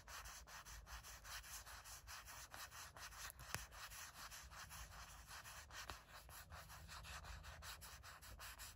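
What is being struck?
Silicone phone case.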